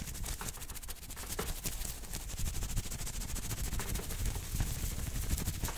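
Fingertips and nails of both hands quickly scratch a maroon cotton t-shirt with printed lettering worn on the chest. The result is a dense, rapid, irregular stream of bright, crackly scraping strokes over a steady low rumble, staying at a fairly even level throughout.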